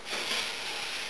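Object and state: Nothing is struck.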